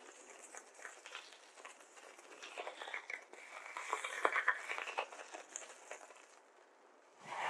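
Hands hold handfuls of white polystyrene foam beads, rub them between the fingers, then pinch and stir the beads with their fingertips in a glass bowl. The result is a dense, dry crinkling and squeaky crackle in the mid-to-high range that swells toward the middle, fades to near quiet, then rises again at the very end.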